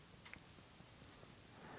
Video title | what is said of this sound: J Edwards Guitars Fractal Fret Press vs A Chinese Knockoff | I shake it, well, you can hear my sleeve. You hear nothing.